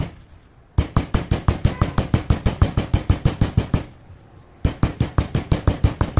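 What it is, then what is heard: Slate pencil powder pounded in a stone mortar. A stone pestle held by the fingertips pounds and grinds grey powder and small crumbs of crushed slate pencils in a stone mortar. About 29 quick, dull, low thuds come in two rapid runs separated by a short pause, each knock dying away almost at once.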